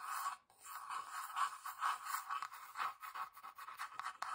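Long dark nails scratch the flat, grainy wooden underside and sides of a small hollow box. Soft, dry scraping strokes come in uneven repeated bursts, with a hissy tone centred around 1 kHz and no low end.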